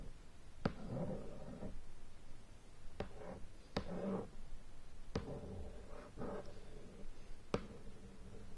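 Long nails tap and scratch on the lid of a large, hollow, shrink-wrapped cardboard board game box lying flat on a bed. Five sharp, quick taps stand out, separated by soft, low, rustling scratches across the wrapped top.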